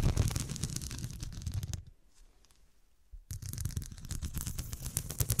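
Long dark nails scratch and tap across the square faceted glass studs covering a fabric cushion, making a dense run of quick clicks and rasping scrapes. The sound pauses briefly in the middle, leaving near silence, then the busy tapping and scratching resumes at the same level.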